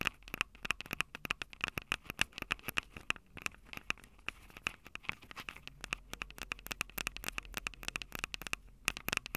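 Long purple nails tap and scratch the two metal mic capsule heads on a small plastic-bodied Tascam DR-05 handheld recorder. The result is a dense, steady run of sharp, close clicks and scrapes, bright and crisp, with a faint tonal ping near 2.6 kHz on many of the taps. Each tap dies away almost instantly over a quiet background.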